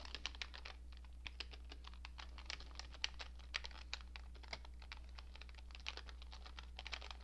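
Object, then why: Plastic computer keyboard. Both hands type rapidly with long painted nails and fingertips on a cream-coloured plastic computer keyboard with hollow keycaps. The result is a fast stream of short, bright, clicky taps over a steady low hum.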